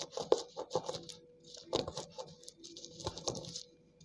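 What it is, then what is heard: Soaked slate pencils being crushed. Water-soaked slate pencil pieces on a tiled floor are pounded and crushed with the end of a dark green cylindrical tool held in the hand. A run of soft, damp taps and gritty crunches comes with a bright, wet crackle and a faint steady tone underneath. The tap-crush action breaks the pieces into crumbly paste and chunks.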